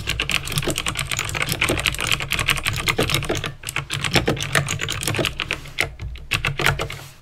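Fingertips with painted nails type slowly on a backlit plastic mechanical keyboard with clicky green switches, producing a steady stream of sharp, bright clicks and clacks that die away almost instantly. A low, steady hum sits underneath; the typing briefly thins out midway, then resumes and tapers off at the end.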